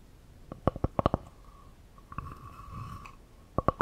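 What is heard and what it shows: A solid, palm-sized round slice of natural wood with a bark edge is held in one hand near the microphones, and long nails tap and scratch its flat cut face. Crisp, hollow-sounding taps with a short woody ring come in a quick cluster, then give way to a soft, steady scratching rasp. The clip ends with a few more sharp taps.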